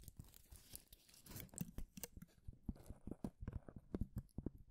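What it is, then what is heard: Thin wooden shaving strip. A long, thin, fibrous wooden shaving strip, held between both hands, is rubbed and scratched with the fingertips and nails. It makes quiet, dry crinkling and crunching sounds, building into a quick series of short, sharp scratches and snaps. The sound is mostly low and dull, with brief brighter crackles.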